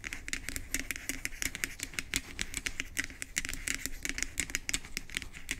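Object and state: Plastic pump bottle head.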